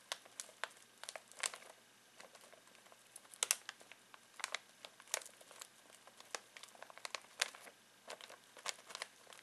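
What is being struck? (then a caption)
Foil-plastic snack bag of pistachios. Fingertips scratch and squeeze a full foil-plastic snack bag of pistachios, making quiet, bright crinkles. Sharp crackles and rustles come in short irregular bursts, with brief pauses of near silence between them. There is no low end and no ringing, and each crackle stops at once.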